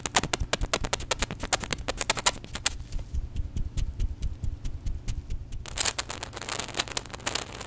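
Gloved hands squeeze and shake a small white hollow plastic contact lens solution bottle with a flip cap, partly full of liquid, close to the mic. Dense, rapid crackling clicks and fizzy, bubbly ticks play over a low, steady rumble. The activity thins to sparse clicks midway, then returns as a brighter, hissy burst of crackles.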